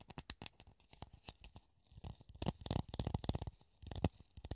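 A hollow clear plastic funnel held in the hand is scratched and tapped with the fingernails. Quick, dry clicks and scratchy taps come in uneven bursts, each with a hollow low thud and a bright crackly edge, bunching into a dense flurry through the middle and ending in a last cluster of taps.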